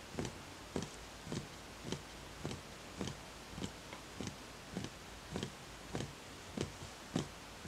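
Fingertips tap the outer wall of a small, empty, hollow wooden bowl with visible grain. About a dozen soft, dull knocks come at a slow, fairly even pace, each short and low with a faint bright click on top. The taps fade quickly against a quiet background.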